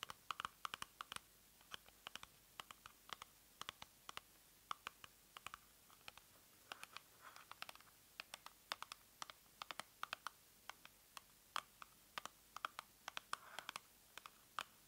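A small, hollow cardboard box printed in pink and black is turned in the hands while long nails tap and scratch its surface. Dozens of sharp, dry clicks with bright, crisp edges and almost no low end come in quick, uneven bursts at a quiet level. Soft scratching and faint rustling fill the gaps between the taps.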